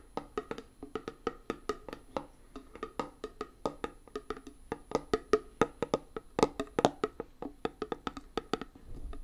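Long fingernails tap on the lid and rim of a small, round, closed metal tin labeled "Hand Gum" and filled with putty, held in one hand. Over forty quick, dry, woodblock-like clicks follow one another in an uneven rhythm, each with a mid pitch and almost no ring. The taps grow louder through the middle of the clip, then ease off.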